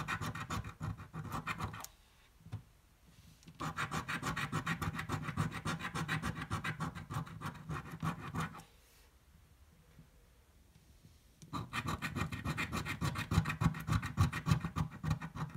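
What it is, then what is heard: Scratch-off lottery ticket being scratched with a coin. A coin scratches the coating off a thin red-green card scratch-off lottery ticket held flat on a table. Three bursts of rapid, rasping strokes are separated by short quiet pauses, with the scratching strongest in the low range.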